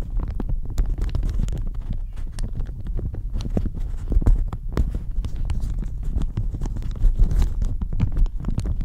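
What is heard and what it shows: A thin floral plastic shower cap stretched over a microphone is scratched and squeezed with fingernails and fingertips. The result is a dense, continuous stream of close, muffled crinkling and rubbing, heavy in deep low rumble, with short sharp scratches scattered throughout.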